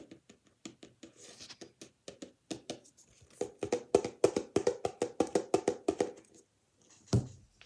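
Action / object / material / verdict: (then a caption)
tap / paper book / paper / none. A paper book is tapped with the hands for ASMR, producing a quick, uneven run of short, dry taps with a hollow tone around 400 Hz. The taps grow louder and denser in the middle, pause briefly, and end with a single sharper tap.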